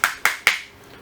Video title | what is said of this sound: N° 6 Remplacement du Condensateur dans un moteur Simu | on entend bien au bruit qu'on est embuté. Ça sonne.